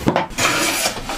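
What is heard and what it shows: A straight edge is tapped against the edge of a bubinga guitar top piece, giving short, hollow, rattly knocks with a bright scraping buzz rather than a solid tone. The sound is not solid because the straight edge only touches at several points, so the edge is uneven and not yet flat.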